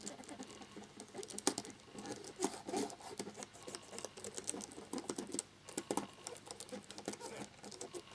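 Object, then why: Plastic laptop keyboard. A cotton swab rubs briskly around the letter keycaps of a black plastic laptop keyboard, making quiet, continuous scratching and rubbing. Soft, bright, dry ticks and scrapes come in quick irregular bursts, with almost no low end and no ring after each stroke.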